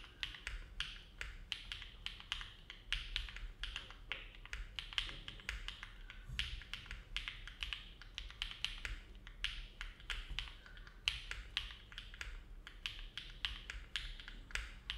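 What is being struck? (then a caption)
Mechanical keyboard, aluminum plate, plastic keycaps. Fingertips of both hands type continuously on a compact Neo70 mechanical keyboard with an aluminum plate, foam dampening and dark GMK plastic keycaps, resting on a desk mat. A steady, unhurried stream of short, crisp clacks carries a bright top around 3 kHz, and each keystroke dies away almost instantly over a faint low rumble.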